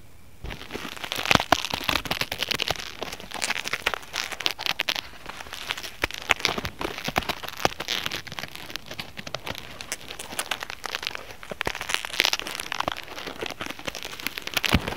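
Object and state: Foam net fruit sleeve.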